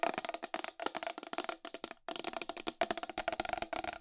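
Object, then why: Plastic wall clock case. Long acrylic nails tap quickly on the side rim of a round, white plastic wall clock with a hollow case. About nineteen dry, hollow clicks ring out briefly around a mid-pitched knock near 680 Hz, with a bright edge. There is a short pause about halfway before the rapid tapping resumes.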